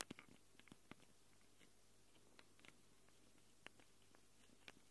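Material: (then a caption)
Plastic, metal. Long glittery acrylic nails scratch, with both hands, the two round X/Y microphone capsules with metal rims on a small handheld Tascam recorder with a black plastic body. About nine sharp, bright clicks and scrapes stand out over a quiet, steady low hum. Each dies away almost instantly, leaving faint soft scratching between them.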